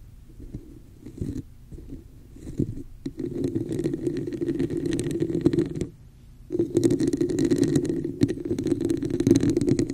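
Long nails on both hands tap and scratch the sides of a hollow red textured plastic cup held over a microphone. The result is a dense, hollow, boomy rasp with a resonant tone around 330 Hz and a faint bright hiss. Scattered quieter taps open the clip, then longer scratching runs follow, broken by a brief pause near the six-second mark.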